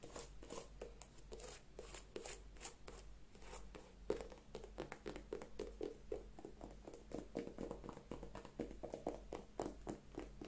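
An empty white leather sneaker with a rubber sole is held in the hands while long nails scratch and tap the leather upper and the side of the sole. The result is quiet, rapid, dry clicks and scrapes with short, mid-pitched taps over a steady low hum.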